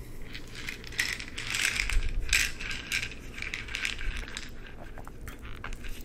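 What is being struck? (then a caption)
Plastic pill bottle with cap. An amber plastic pill bottle with an orange cap is handled and tapped with the fingertips while the cap is twisted. Its ratchet-like clicks come as a quick, uneven stream of bright, crisp ticks and light rattles over a soft low rumble. Each click is short and dry, with little ring.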